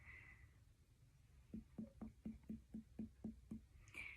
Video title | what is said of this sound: Abdominal • Neurological • Musculoskeletal Assessments by ALYSSA | and I hear a dull sound over your spleen which is completely normal